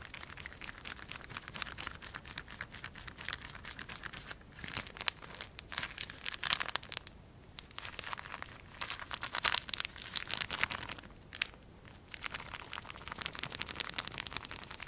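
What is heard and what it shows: A small clear plastic bag, partly filled with liquid or gel, is held in one hand and squeezed and crumpled by the fingers. It makes dense, bright, crisp crinkling with rapid crackles, broken by brief quieter pauses around 4.5, 7 and 12 seconds. There is almost no low-end weight.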